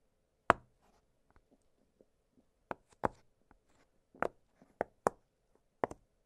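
Fingertips press and pop the hollow bubbles of an octagonal blue silicone pop-it fidget toy lying flat on a glittery surface. Seven short, dry pops with almost no ring sound out irregularly, with faint softer clicks between them over a quiet, steady midrange hum.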